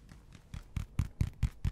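A spiky rubber ball is tapped and handled, giving eight soft, dull, low thuds in a steady rhythm. The taps start faint and grow louder, each one short with almost no ring.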